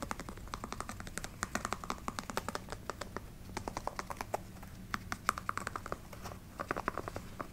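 Long nails tap very fast on the textured rubber outsole and the canvas upper of a canvas sneaker. The result is a rapid, uneven stream of short, dry clicks with a bright edge, centered around 1.2 kHz, over a faint low hum.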